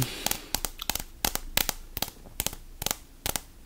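A small, solid, purple vinyl-coated hand dumbbell is held in one hand while the fingertips of the other hand tap and scratch its coated end. Fourteen quick, sharp, crisp taps come in small clusters over a faint scratchy hiss, each dying away almost at once.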